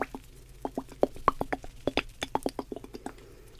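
A bottle of liquid lash glue is shaken, and the liquid sloshes inside in a quick run of short, soft plops and clicks. Each dry burst dies away at once. The slosh shows that the bottle holds liquid.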